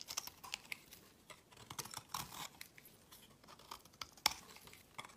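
A metal utility knife blade scrapes and carves a solid brown laundry soap bar held in the hand, with shavings falling away. Quiet, dry, crisp scraping and crackling comes in a series of short, bright ticks and rasps with almost no low end, and one sharper snap near the end.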